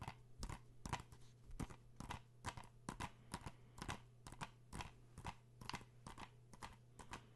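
A hollow plastic PS4 game case for Uncharted is held in the hands and tapped with fingertips and nails, giving a quick, irregular series of short, dry clicks and taps with a bright edge. The taps are quiet and die away almost at once over a steady low hum.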